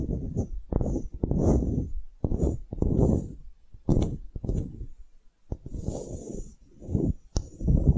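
A small, solid, light-wood block with engraved lettering and a string loop is held in the fingers while long nails scratch across its surface. Low, close-miked rubbing and scraping strokes come in repeated bursts, punctuated by sharp clicks and taps. Faint bright hiss sits above them.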